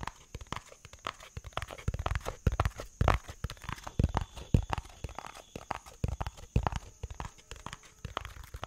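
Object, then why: Cardboard box. A hollow yellow-tan cardboard box is held in the hands and tapped rapidly with fingertips and nails. The result is a dense, irregular stream of short, dull, low thuds with faint crisp clicks from the nails, each tap dying away almost instantly.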